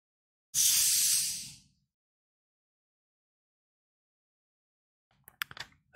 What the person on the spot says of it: This is a perfectly good cherry coke. I'm gonna shake it up so you can hear the fizz go tss.